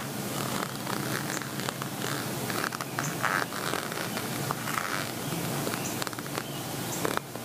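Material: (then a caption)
Plastic. Fingertips and nails scratch across the bumpy surface of a flat plastic zip cosmetic pouch, covered in small white and black bead-like dots that form a pixel envelope with a red heart. The result is a steady, dense rasping scratch with a brighter hiss on top, broken by quick clicky ticks as the nails catch on the beads.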